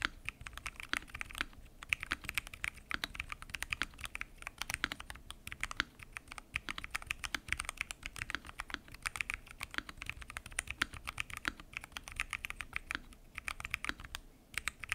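Fingertips type continuously on a full-size mechanical keyboard with lubed switches, pink and mint PBT keycaps, and a transparent acrylic case. The result is a steady stream of quick, crisp clicks and clacks with almost no ring, bright and centered around 2.5 kHz, with little low end.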